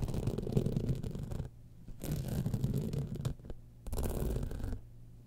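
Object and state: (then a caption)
Rhinestone-studded clutch bag. Long manicured nails scratch the glass rhinestones on a small gold clutch bag built on a metal and fabric base, which lies hollow and apparently empty on its side on white fur. Three bursts of dense, rapid, uneven scratching come through, mostly deep and muffled with only faint bright grit. Quieter gaps between them carry a low steady hum.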